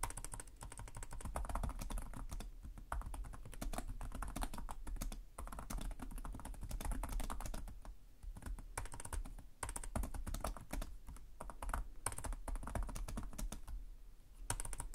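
Fingertips type steadily on the plastic keys of a black laptop keyboard, producing a rapid stream of short, dry clicks and soft thuds. Each keystroke dies away almost instantly, with most of the energy in a low, muted thump and little high-end brightness. The typing runs continuously, with brief pauses between bursts.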